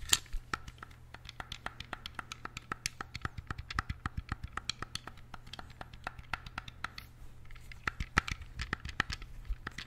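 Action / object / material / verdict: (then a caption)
tap / hollow plastic game controller / plastic / none. A small, hollow, black plastic wired game controller in the Sega style is held close to the mic while fingertips and nails click and scratch its buttons and d-pad. A rapid, steady stream of sharp, bright plastic clicks sounds with very short decays, mixed with light scratching over a constant low hum.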